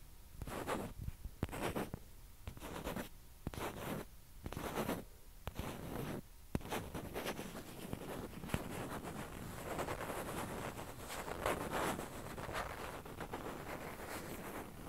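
A single small hollow white plastic ping pong ball is held close and scratched with long fingernails, giving quiet, dry scratching strokes. The strokes come in distinct bursts for the first several seconds, then blur into a steadier rasping.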